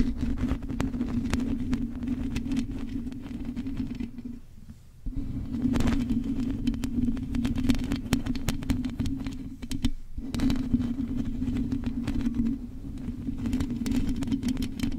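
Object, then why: Metal mesh microphone grille scratched and tapped with long nails. Long acrylic nails scratch and tap the hollow metal mesh grille of a silver condenser microphone, with the hands staying on the grille throughout. A dense, continuous rasp rides over a low rumbling hum with a steady tone near 250 Hz, broken by many quick taps and clicks. The sound drops away briefly around 4.5 seconds and again near 10 seconds before resuming.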